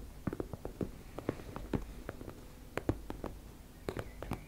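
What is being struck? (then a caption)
Embossed fabric makeup bag. Long nails scratch and tap on a teal embossed-fabric cosmetic pouch, making a quiet run of short, dull taps with soft scratchy rustling between them. Each tap dies away almost at once, and most of the sound sits low with very little high, bright content.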